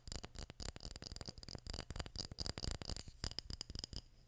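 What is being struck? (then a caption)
Small glass jar with metal screw lid. Fingertips and nails tap and scratch a small glass jar with a metal screw lid and paper label, partly filled with red items. About nineteen quick, dry clicks come in a rapid, uneven run, each with a thin, bright high ring and a soft, low thump underneath, mixed with light scratching. The sound is quiet and close, and each tap dies away almost at once.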